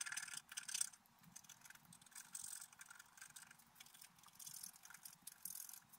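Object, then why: Black-coated scratch-art paper card scraped with a wooden stylus. A wooden stylus scrapes across a flat, black-coated scratch-art paper card. The result is quiet, bright, hissy scratching in uneven bursts, with brief pauses between strokes and almost no low end.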